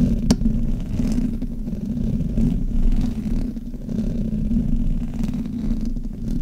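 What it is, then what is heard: Metal microphone grille being rubbed. Fingertips and long fingernails rub and scratch the metal mesh grille of a black Blue Yeti USB microphone, whose hollow head sits on a stand. The result is a steady, dense low rumble with a faint hum near 240 Hz, swelling and dipping as the hands move, with a brief bright scrape early on.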